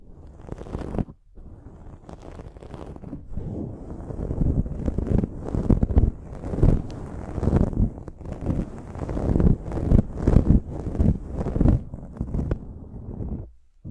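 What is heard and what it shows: Long decorated acrylic nails scratch and rub across a dark foam windscreen covering the head of a large silver desktop microphone, with both hands working on the soft, hollow-mounted foam. The result is a continuous, dense, low-heavy rustling and scraping with swelling bursts and brief near-silent gaps, dropping out around one second in and again at the end.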